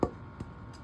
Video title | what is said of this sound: Ukulele Build Day 9. | it wants to resonate, but this is a hard wood. It's denser, so it's not going to resonate very much.